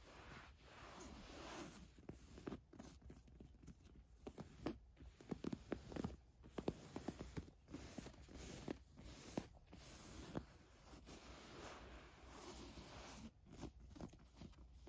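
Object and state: Ribbed knit top scratched with nails.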